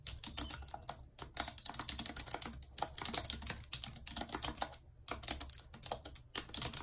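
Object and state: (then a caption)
Plastic computer keyboard being typed on. Long red nails type quickly on the plastic keys of a white plastic computer keyboard. Dense bursts of bright, dry clicking and tapping follow one another with almost no ring, broken by brief pauses between runs.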